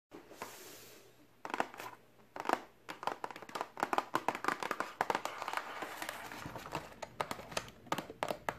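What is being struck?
Cardboard box.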